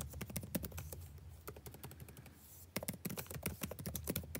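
Fingertips type continuously on the blue-backlit plastic keycaps of a dark laptop keyboard, producing rapid, short, dry clicks with a low thud. The tapping eases into a softer, sparser stretch midway, then resumes at full pace.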